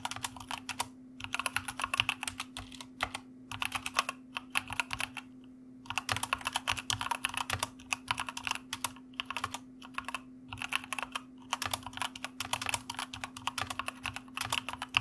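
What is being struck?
Plastic mechanical computer keyboard.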